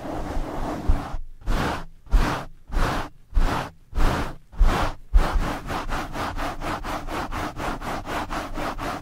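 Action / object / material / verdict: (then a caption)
scrape / foam microphone windscreen rubbed by nylon mesh gloves / foam / none. Two nylon mesh scrub gloves wrap a black foam windscreen on a blue microphone and rub it vigorously, sliding along its sides. A continuous rough scrape gives way to six separate loud, breathy strokes, then settles into quicker, steady back-and-forth rubbing. The close scratchy rustle carries a heavy, booming low rumble throughout.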